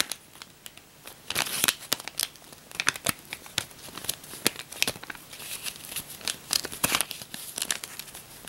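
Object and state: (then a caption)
Paper banknote stack. A bundle of US paper dollar bills is bent, riffled and crinkled with the fingers and long nails above separate bills lying on a bedspread. The result is dry, bright, papery crinkling and crackling with many sharp, quickly fading snaps and flutters, swelling into denser bursts during the riffling.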